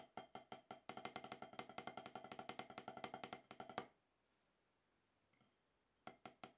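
Wooden drumsticks tap a solid, octagonal HQ rubber-top drum practice pad. They play a run of dry, short-ringing, woody clicks centered around 750 Hz with bright edges, speeding into a dense burst. After a couple of seconds of near silence, a few more taps follow.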